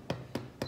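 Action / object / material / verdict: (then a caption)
tap / baked baguette crust / bread crust / hollow. A freshly baked vegan baguette is turned over and tapped three times on its underside. Each tap gives a short, hollow knock. The hollow sound shows the bread is baked through and done.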